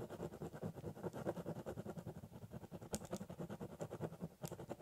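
A metal-barrel biro held in the fingers scratches and draws cross-hatching across the large, flat top of a hollow corrugated cardboard box. Quiet, rapid, uneven strokes give a papery, hollow rasp centered in the low-mids, with a few brighter scratchy accents near the middle and end.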